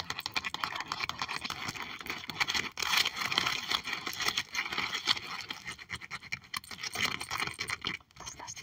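Long acrylic nails on both hands scratch and tap across a clear plastic sleeve album page holding puffy fish stickers. The result is a steady, bright, crinkly stream of fast scratches and crisp clicks, mostly high-pitched with almost no low end. Each sound is dry and short, with brief quieter gaps.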